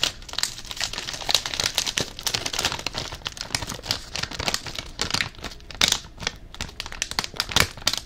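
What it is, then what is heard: Plastic foil chip bag. A blue Covered Bridge potato chip bag made of plastic foil and full of chips is held up and crinkled with the fingertips. The result is a steady, dense crinkling with bright, sharp crackles that snap out above the rustle, with very little low end.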